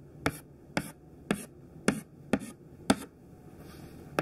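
Thin white classroom chalk held in the hand taps quick dash strokes onto a black chalkboard, giving seven short, dry clicks at an uneven pace. Each tap is a brief, bright snap with a faint scratchy tail and almost no ring.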